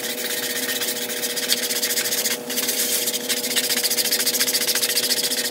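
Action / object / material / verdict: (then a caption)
scrape / synthetic woven area rug scrubbed with a stiff-bristle brush / synthetic fibre / none. A handheld stiff-bristle plastic scrub brush scrubs a large, flat, damp, grey patterned synthetic woven area rug lying on a tile floor. The brushing makes a steady, bright, rhythmic scratching in quick back-and-forth strokes, with a faint constant hum underneath. The scrubbing dips briefly before continuing at an even pace.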